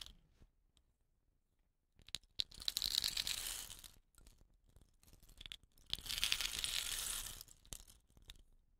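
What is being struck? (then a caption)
Wooden rain stick. Fingernails tap the body of a hollow, dot-painted wooden rain stick with rattan ends, then it is turned in the hands. Faint, sparse clicks give way to two long, bright hissing swells of falling fill, each rising, holding and fading, with sharp taps scattered between and after them.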